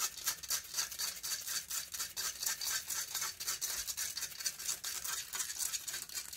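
Long fingernails rapidly and roughly scratch the hollow metal mesh grille of a silver condenser microphone. The result is a fast, uneven run of bright, hissy scraping strokes that is almost entirely high-frequency, with no low end and each stroke stopping dry.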